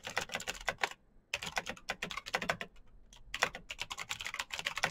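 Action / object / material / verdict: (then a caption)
tap / plastic mechanical keyboard / plastic / none. Fast, continuous typing with the fingertips of both hands on a black plastic mechanical keyboard with green clicky switches and backlit keys. It produces sharp, bright clicks with very little low end and almost no ring, in quick bursts broken by a brief pause near the one-second mark.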